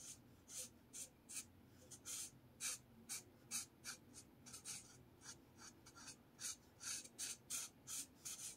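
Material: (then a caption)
Paper. A blue marker rubs and scratches repeated strokes across a lined paper spiral notepad. About 21 short, bright, raspy scratches come at an irregular pace, with a quiet background between strokes.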